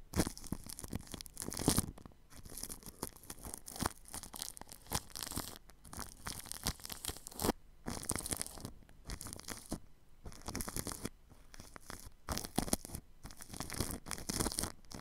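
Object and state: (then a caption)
Paintbrush on plastic cling film. A paintbrush brushes plastic cling film wrapped over a ball microphone's grille. The sound is a close, crinkly, scratchy rustling that comes in repeated bursts of strokes with brief quiet gaps, broadband with a bright hiss on top.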